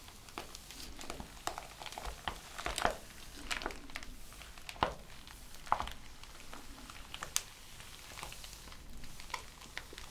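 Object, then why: Bound stack of printed paper pages. Flat palms and fingertips rub and trace across the printed paper pages of a thick, ring-bound thesis lying open on a table. The result is a quiet, continuous papery rustle and brushing, broken by scattered sharp, bright crinkly ticks and soft swishes.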